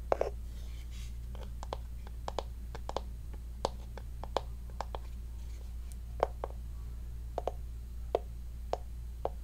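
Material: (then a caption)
Wood. A small hollow wooden heart-shaped box, held in both hands, is tapped and scratched with long fingernails. Quiet, sharp, dry taps with a hollow woody tone around 550 Hz come at an irregular pace, with faint scratching between them. A steady low hum runs underneath throughout.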